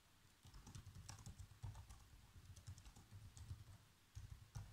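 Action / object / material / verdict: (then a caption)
tap / plastic laptop keyboard / plastic / none. Fingertips with short nails type fast across the keys of a black plastic chiclet laptop keyboard. The result is a quick, uneven stream of soft, low tapping thuds with faint bright clicks, each tap dying away almost at once.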